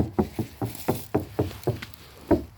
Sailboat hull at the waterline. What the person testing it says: It sounds hollow here